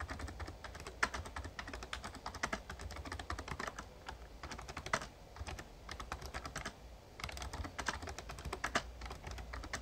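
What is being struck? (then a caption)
Plastic membrane keyboard. Fast fingertip typing on a full-size backlit plastic Razer Ornata Chroma mecha-membrane gaming keyboard produces a rapid, dense stream of short, bright clicks and clacks with a few louder strikes. A steady low hum runs underneath the whole clip.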